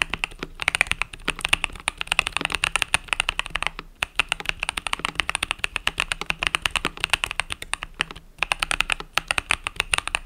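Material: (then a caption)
Plastic. Fingertips with long nails type rapidly on a compact mechanical keyboard with cream and purple plastic keycaps resting on a desk mat. The result is a dense stream of short, bright clacks and taps that barely ring, with brief pauses near 4 and 8 seconds.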